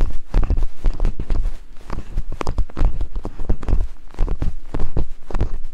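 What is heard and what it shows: Two wooden picks tap and scrape rhythmically over silicone binaural microphone ears. The result is a fast, uneven run of short, deep, muffled thumps with soft scraping between them, heavy in the low end with almost no bright content.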